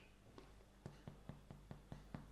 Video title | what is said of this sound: Fruit Scone Recipe easy | it's hollow inside well not Hollow but fluffy